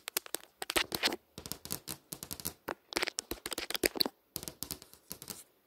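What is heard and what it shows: Long nails tap and scratch across a flat glass touchscreen display showing text and a browser bar. Quick, dry, bright clicks come in irregular clusters with short scraping strokes and brief pauses between bursts. There is almost no low end and no ring after each touch.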